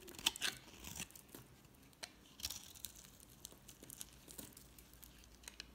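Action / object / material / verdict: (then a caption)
scrape / bar soap shaved with a utility knife / soap / none. A utility knife blade scrapes and shaves flakes off the surface of a solid red-pink embossed bar of soap held in the hand. Quiet, crisp scraping and crinkly shaving strokes come in short, sharp bursts, bright and high with little low end, the loudest near the start.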